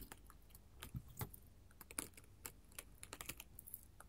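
A flat sheet of small square glass mosaic tiles in pink, yellow, orange and clear rests on a table and is tapped and scratched with long, pointed gold metal filigree finger-claw jewelry. Quick, quiet, sharp clicks come in an uneven, typing-like patter with bright high ticks and a few duller, heavier taps, each dying away almost at once. The chains on the jewelry may add a faint jangle.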